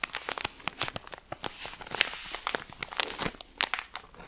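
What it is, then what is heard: Plastic-wrapped pack of cotton pads. A cylindrical pack of cotton pads wrapped in thin plastic film is held in one hand while fingertips and nails rub, squeeze and scratch the film. The result is a dense run of bright, crisp crinkles and sharp scratchy ticks with almost no low end.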